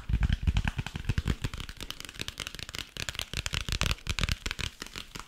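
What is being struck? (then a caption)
Hardcover notebook with cardboard cover. Fingertips and nails tap and scratch the printed cardboard cover of a closed, solid hardcover notebook. Quick, irregular dry taps with a dull, low thump die away almost instantly, mixed with a bright, papery scratching texture running throughout.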